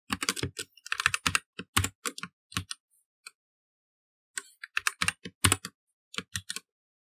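Fingertips type on a black plastic mechanical computer keyboard with plastic keycaps set in an inset. Quick runs of sharp, bright clicks carry a low thock underneath and stop dead after each press. A burst of typing is followed by a pause of about a second, and then a second burst.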